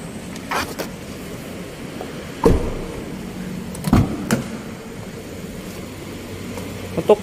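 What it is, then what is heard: Plastic car door trim. Knuckle knocks on the plastic rear door trim panel of a 2022 Wuling Formo 1.2 5-seater facelift give short, hollow, dull taps with little ring, showing the trim is plastic. The knocks come in scattered groups over a low background hum.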